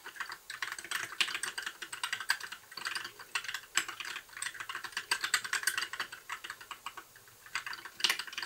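Fingertips of both hands type continuously on a compact white 60% mechanical keyboard with plastic keycaps and RGB backlight. Dense, irregular streams of short, bright plastic clacks sit around 1.7 kHz and above, with almost no low end. Each keystroke dies away almost instantly, and the typing eases into a brief softer lull before a final burst of presses.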